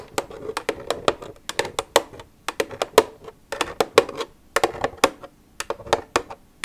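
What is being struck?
Plastic milk jug tapped with fingernails.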